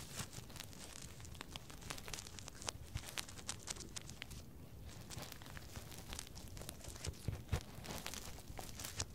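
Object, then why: Silicone binaural microphone ears. Fingertips and nails rub and scratch along the silicone ears of a binaural microphone, making quiet, crinkly friction sounds. Dense bursts of bright tearing and crackling texture sit over a steady low rumble, with a few louder scratches near the end.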